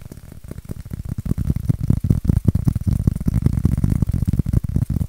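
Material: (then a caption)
Styrofoam. A white styrofoam shape is scratched and tapped with fingertips and nails. The result is a rapid, dense run of short, dull, low thuds mixed with soft scratching, each dying away almost instantly. The sound grows slightly louder after the first second.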